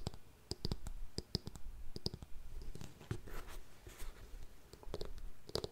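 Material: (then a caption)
Faux suede. A grey faux suede ankle boot is held sideways while long nails tap and scratch its heel and toe. The result is a rapid series of short, dry clicks mixed with soft scratchy brushing, with a dull low thump under each tap and brief bright ticks on the sharper hits.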